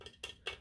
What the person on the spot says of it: sounds like plastic but I just love that concrete look to it